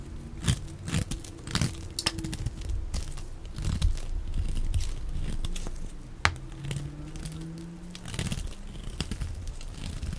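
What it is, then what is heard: Bar of soap being cut and scraped. A dark blade cuts and scrapes long strips off a solid, dry, olive-green rectangular laundry soap bar, hand-sized and held in one hand. Soft, low, crumbly scraping and crackling runs throughout, with sharp bright clicks as the blade bites into the soap.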